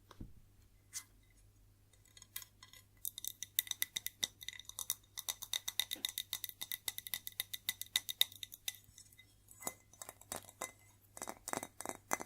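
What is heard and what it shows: A white ceramic plate is tapped and scratched, giving quick, bright clinking taps with a short high ring. The taps come in irregular bursts, sparse at first and then dense, over a faint low hum.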